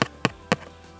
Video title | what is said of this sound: Index Card Art #1 | that's me tapping my fingers on it it's quite stiff now